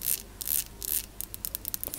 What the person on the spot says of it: Here's some of the black stone figurines.